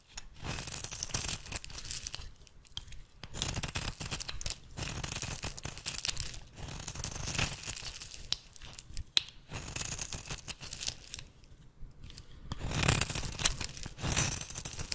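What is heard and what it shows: A small metal blade shaves curled flakes from the end of a solid bar of rancid pink soap held in the hand. Repeated dry, crackling scraping strokes come in bursts, with a bright, hissy top and a soft low body, separated by brief quieter gaps.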